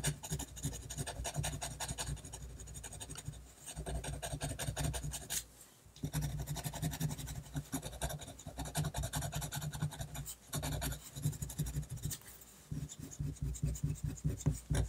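A technical pen scratches quick, repeated ink strokes across a flat sheet of drawing paper. Dense, dry scratching runs almost continuously, broken by short pauses near 5.7, 10.4 and 12.6 seconds. A low hum sits steadily underneath.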